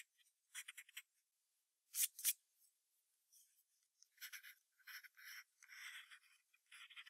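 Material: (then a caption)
Paper. A wooden graphite pencil sketches short strokes on a thin sheet of white drawing paper taped to a hardboard clipboard. Quiet, bright, dry scratching comes in quick irregular bursts with no low end, with two sharper, louder strokes near the two-second mark. Denser scribbling follows toward the end.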